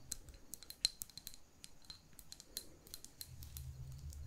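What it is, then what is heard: Glass jar candle. A small glass jar holding a lit wax candle, its wax filling the lower half and a ribbon tied at the rim, is held in both hands and tapped with long pink nails. About twenty quick, dry clicks with bright tones ring only briefly over faint background noise. A low rumble rises near the end.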